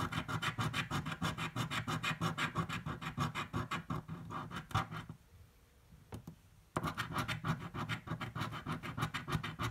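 A coin held in the fingers scratches the coating off a thin green card paper scratch-off lottery ticket lying flat on a table. Quick, rasping strokes repeat steadily with a low body and bright grit. About halfway through they pause into near-silence with a couple of faint ticks, then the scratching resumes at the same brisk pace.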